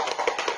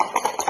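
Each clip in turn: First: dull-sounding rattle of a cardboard cube with muffled filler. Second: cardboard learning cube with a ringing filler.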